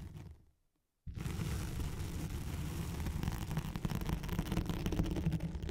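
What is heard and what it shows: Long nails scratch with both hands across a thin white hook-side sheet of nylon hook-and-loop velcro laid over a microphone. A brief faint rustle fades into about half a second of silence, then a dense, continuous low rasp of scratching runs steadily to the end, growing slightly rougher and louder in the last seconds.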